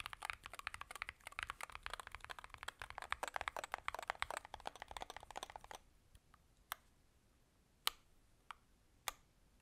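A 65% Varmilo Muse65 keyboard, with a blue aluminum case, plastic keycaps and magnetic switches, is typed on with the gloved fingertips of both hands. A fast, dense run of short, bright clacks lasts about six seconds. It then thins to a handful of separate, crisp keystrokes with quiet gaps between them.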